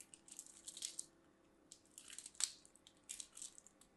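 A hand with long dark nails rubs a mint-green and white striped solid soap bar against a small handheld stainless steel box grater, scraping off soap shavings. The sound is quiet, bright, scratchy rasping in short bursts and clusters separated by near-silent pauses, with almost no low end.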